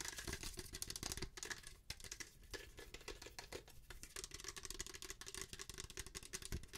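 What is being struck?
Plastic lotion pump bottle.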